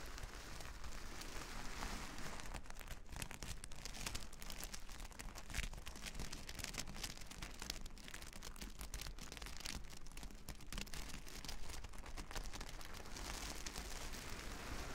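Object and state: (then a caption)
Plastic sequin fabric. Long nails scratch over the plastic sequins of a reversible sequin fabric sheet, making a steady, dense rasp of tiny crinkly clicks. The texture stays bright and scratchy throughout, over a low, even background rumble.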